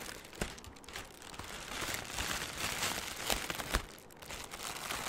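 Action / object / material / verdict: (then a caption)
scrape / balled piece of thin plastic film / plastic film / none. A loosely balled, hand-sized piece of light, airy green crinkly plastic film (cellophane or mesh) is squeezed and crumpled with fingertips right beside the microphone. A dense, bright crinkling with sharp crackles runs steadily throughout, with a few louder snaps standing out along the way.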